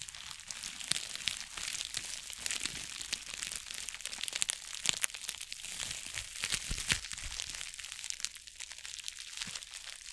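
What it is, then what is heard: Plastic bubble mailer envelope. Long acrylic nails tap and scratch the surface of a flat, hollow, white bubble-lined plastic mailer envelope, about A5 size, held in both hands with bubble wrap showing at one edge. The sound is a steady stream of bright, crisp crinkles and sharp little clicks, with almost no low end, and brief louder taps stand out throughout.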